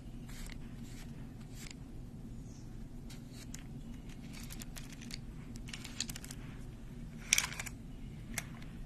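Long blue nails slide and click the colorful round beads along the rods of a small wooden-frame abacus held in both hands, and tap its frame. Scattered bright, brief clicks and soft sliding rasps sit over a steady low background hum, with a sharper, louder click late in the clip.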